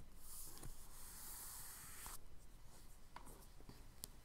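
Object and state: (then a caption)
Charcoal scratching on kraft paper. A charcoal stick held in the fingers is dragged across a flat page of a spiral-bound tan kraft paper sketchbook resting on a dark table. It makes a steady, airy, bright scratching hiss of long rubbing strokes. The strokes end in a couple of sharp clicks.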